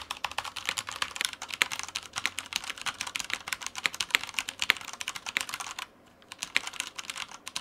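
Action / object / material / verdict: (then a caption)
tap / plastic mechanical keyboard / plastic / none. Fingertips of both hands type continuously on a Typhon Mars Pro tenkeyless mechanical keyboard with Cherry Brown switches, plastic keycaps and a white frame, sitting on a white desk. The sound is a rapid stream of bright, crisp plastic key clicks with almost no low end. The typing pauses briefly near the six-second mark before resuming.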